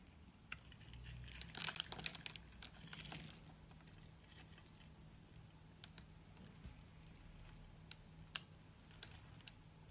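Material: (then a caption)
Soap. A palm-sized solid orange bar of soap, held in a hand with long painted nails, is shaved and scraped with a metal blade, leaving curls and crumbs. A dense burst of bright, crisp scraping and crinkling comes early in the clip, then gives way to sparse, sharp ticks and scrapes. A faint low hum runs underneath throughout.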